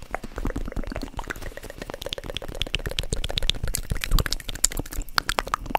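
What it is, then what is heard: Foam squishy toy tapped and squeezed. Long pointed nails tap and squeeze a solid, spongy, loaf-shaped soft polyurethane foam squishy bread toy held in one hand close to the mic. Rapid, dense soft taps and squishy crackles run throughout, with a heavy low thump underneath and bright clicky edges on the nail strikes.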